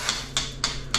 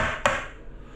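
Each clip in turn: First: Four crisp, high clicks that stop almost at once: a ceramic tile tapping solid, firmly bonded underneath. Second: A single tap on a wall tile gives a drummy, papery knock that dies quickly, typical of a hollow backing.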